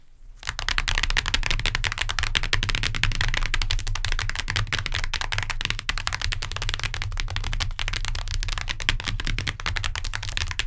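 Long nails tap rapidly on a hardcover book with a cardboard cover. The dense stream of dry, bright clicks runs almost without a break for the whole clip, each one dying away at once, over a steady low rumble.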